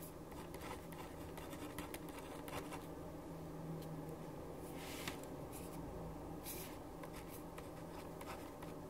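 A right hand writes with a black ballpoint pen on a white paper sheet lying flat on a wooden desk, scratching the tip across the paper. Soft, papery scratches and brief bright strokes come and go over a steady low hum at a quiet, even level.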